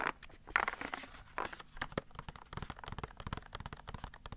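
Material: Cardboard.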